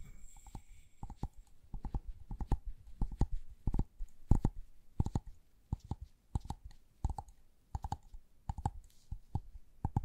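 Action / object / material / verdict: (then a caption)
tap / plastic LED light bulb / plastic / none. A small, hollow white LED light bulb with a plastic dome and base is tapped and scratched with long gloved nails. Quick, uneven taps and scrapes sound muffled and mostly low, with sharp clicks and brief bright scratchy edges. Each hit dies away almost at once.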